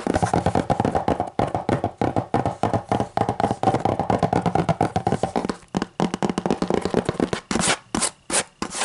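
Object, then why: Hardcover book. Fingers scratch and rub the cover of a hardcover book in a quick, continuous run of short, dry rasping strokes. The strokes break into a few louder, separate scratches near the end.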